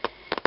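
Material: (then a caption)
Chipboard. Heavyweight chipboard is tapped several times, giving short, dry, solid knocks with almost no ring. It sounds more solid than medium-weight chipboard because the board is thicker, stronger and more compacted.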